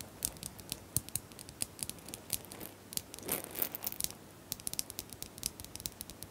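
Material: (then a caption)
Plastic. Small plastic bottles are tapped in a quick, irregular series of light, bright clicks, each dying away almost instantly. Around the middle, a short rustling, crinkly swell rises before the crisp taps continue at a low, close volume.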